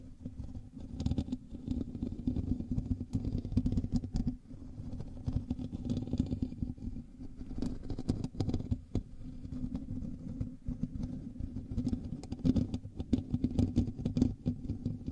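Both hands scratch the hollow metal mesh grille of a black USB microphone with fingertips and nails. The result is a continuous, dense, heavily bass-weighted scratching and rustling with a steady low tonal band, broken by sharp, bright clicks and brief quieter pauses.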